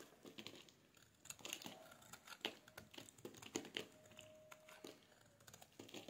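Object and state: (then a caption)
Dry bar soap being shaved. A metal utility blade scrapes and shaves a solid oval bar of dry pink soap held in the hands, sending curls and flakes onto a wooden surface. The sound is a quiet, close run of crisp, crinkly scrapes and bright shaving ticks, with a faint thin squeal of the blade on the soap in places.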